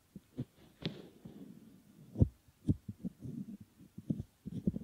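Fingertips squeeze, fold and rub the rim of a soft, solid silicone ear model. The result is a close, muffled series of low thumps and soft rubbery brushing at an uneven pace, with a few brief brighter squeaks.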